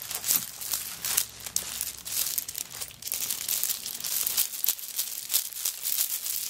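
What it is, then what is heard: Coconut shell bag. Long nails scratch across a handbag covered in coconut shell chips, and then the bag is lifted by its wooden bead handle and shaken. The result is a dense, bright, crackly rattle of small dry clicks and scrapes with almost no low end, each tick dying away almost instantly.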